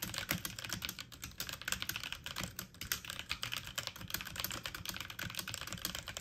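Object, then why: Plastic mechanical computer keyboard. Fast typing on a full-size backlit mechanical computer keyboard with plastic keycaps, keys pressed with fingertips and medium nails. A dense, continuous stream of short, bright clicks and taps with very little ring, sitting mostly in the high range over a soft low rumble.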